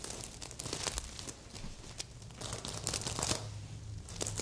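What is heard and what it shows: A stuffed red sequin heart pillow has its sequins scratched and flipped by long nails, turning them to the silver side. Dense crinkly scratching with bright clicks and rustles continues throughout, with a faint low hum underneath.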